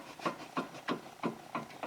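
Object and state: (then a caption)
Worn sway bar end link with play. A worn metal rear sway bar end link on an Acura TSX/TL or Honda Accord is shaken by hand on the worse side. It knocks about six times in a steady rhythm, each a short, dull clunk with some rattle, showing play in the link.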